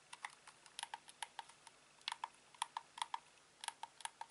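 A hand-sized, grey-black hollow plastic Xbox controller is held in both hands while fingertips press and click its face buttons, D-pad and thumbsticks. About twenty quiet, sharp, dry plastic clicks come in an uneven rhythm, each with a mid-pitched tick and a bright top and almost no ring or low end.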